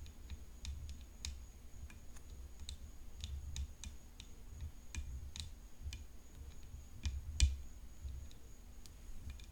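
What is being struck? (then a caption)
Graphite composite tennis racket frame. Long painted fingernails tap the hollow composite frame edge of a graphite composite tennis racket decorated with rhinestones. The result is a scattered series of light, dry, bright clicks, with one louder tap near the end, over a quiet low rumble and a faint steady high-pitched tone.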